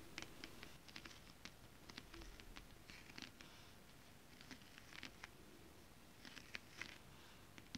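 Long decorated acrylic nails tap and scratch with both hands on a flat sheet of shiny, holographic scale-printed stretch fabric that is thin and soft. Quiet, dry, bright clicks and short scratchy swipes come in irregular clusters over a soft low hiss, with the taps dying away almost instantly.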